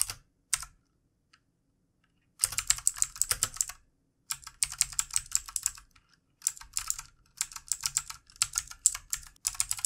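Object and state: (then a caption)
Plastic mechanical keyboard. Fingertips of both hands type on a full-size backlit plastic mechanical computer keyboard with plastic keycaps. Two quick taps open the clip, followed by a pause and then several long runs of fast, bright, clicky keystrokes separated by short silences. Each tap is crisp and dies away almost instantly.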